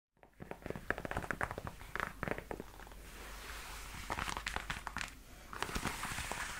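Long white-tipped nails tap and scratch a worn black leather knee-high platform boot with a block heel, working over the hollow shaft and the toe. A run of quick, dry taps with bright clicks alternates with rougher scratching passages, and the soft leather gives a short, muffled knock with almost no ring.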